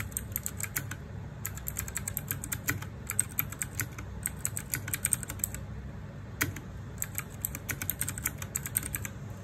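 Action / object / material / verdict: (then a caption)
tap / mechanical keyboard with plastic keycaps / plastic / none. Fingertips type continuously on a small 60% RGB-backlit mechanical keyboard with plastic keycaps. Bursts of sharp, bright, clacky keystrokes come in quick runs separated by brief pauses, over a steady low background hum.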